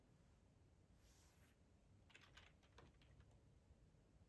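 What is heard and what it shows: Fingertips of both hands type on a full-size black plastic ergonomic split keyboard resting on a cloth tablecloth. Very quiet, soft key taps with bright clicky edges come in a loose run in the second half, over a steady low rumble and a brief high hiss near the start.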